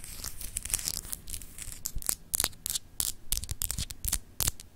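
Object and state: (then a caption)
Glass globe paperweight scratched with nails. Long acrylic nails scratch across a palm-sized solid clear glass globe paperweight with etched continents, held in the hand. Quick, dry, high scratching strokes come in an irregular run, each stopping dead with no ring, over a low rumbling background.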